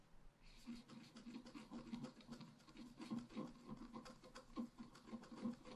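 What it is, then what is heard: Scratch-art card being scratched. A pointed wooden stylus scratches across a flat, black-coated scratch-art card, about A5 in size, that lies on a table and is held down by one hand. The quiet, dry scratching comes in a steady run of short, overlapping strokes that swell and fade. It has a faint low-mid tone and a bright, airy hiss.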